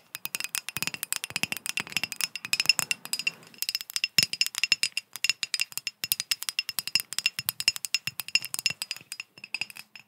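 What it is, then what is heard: Glass bottle tapped with fingernails. Long acrylic nails rapidly tap and scratch a hand-sized, ribbed and textured green glass bottle or decanter that looks hollow and empty, held close to the microphone. Dozens of quick, bright, clicky ticks and clinks ring out with almost no low end, each dying away at once. A faint high glassy tone shimmers under the steady stream of taps.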